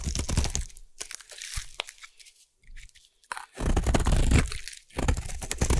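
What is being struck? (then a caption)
Bar of soap cut with a metal blade. A metal blade shaves a solid blue bar of soap, making dense, crunchy scraping bursts with a heavy low-end thud and a bright crackle on top. The cutting starts loud, fades to near silence in the middle, then returns in strong crunching runs.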